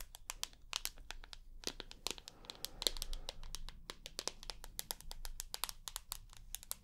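Long nails tap and scratch a rose gold iPhone with a glass screen and aluminium back as it is turned between its edge, back and front. Rapid, sharp, bright clicks come in irregular bursts with almost no ring, over soft scratchy rustling.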